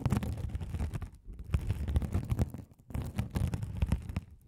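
A rolling gold metal spiked roller scratches across a hand-sized blue glitter mesh scouring sponge, soft and solid with a sparkly woven mesh cover, held over the microphones. It makes a dense, low, rumbling scratch full of quick crackly textures, with short pauses around 1.2 and 2.8 seconds before the scraping resumes.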